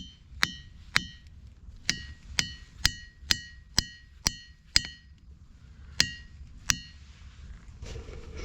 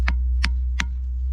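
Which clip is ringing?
The first.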